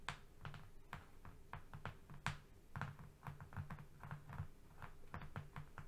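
Fingernails tap and scratch across a flat brown cardboard strip, moving along its surface. A quiet, steady run of soft, dull taps with a low, hollow body comes through, each with a short crisp tick that dies away almost at once, mixed with faint scratchy rasps between them.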